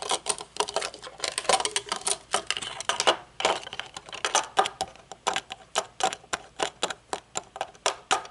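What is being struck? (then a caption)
Metal-frame sunglasses with glass or plastic lenses. Long nails tap the metal bridge, hinges and dark lenses of a pair of metal-frame sunglasses as they rest on a table and are then held up. The clip is a rapid run of sharp, bright clicks with almost no low end, each dying away almost instantly. It starts as a dense flurry and then settles into more evenly spaced taps.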